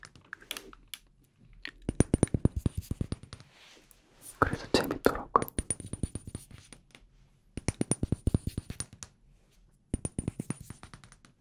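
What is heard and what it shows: A glass room spray bottle is tapped with the fingers in several rapid bursts of short, hard clinks with almost no ring. The glass sounds different from the labelled part of the bottle, and a brief scratchy, brushing passage sits in the middle.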